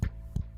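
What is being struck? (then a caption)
Microphone arm. Three taps on a cheap, poorly made 15-dollar microphone arm carry straight into the microphone as short, dull, low thumps around 66 Hz. They sit over a steady low hum, and each dies away almost at once.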